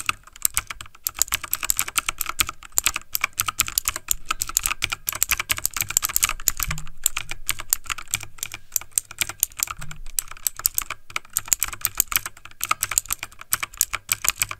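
Fingertips of both hands type fast on the left key block of a backlit plastic mechanical computer keyboard. A dense, continuous stream of sharp, bright clicks and clacks with almost no ring, and a faint low rumble beneath.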